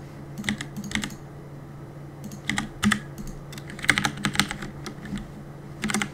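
Fingertips tap the keys of a black mechanical keyboard with plastic keycaps in quick, irregular bursts. The clicks are short and sharp, centered around 2 kHz with a bright, clacky top, over a faint steady low hum. The typing comes in clusters with quiet gaps between them.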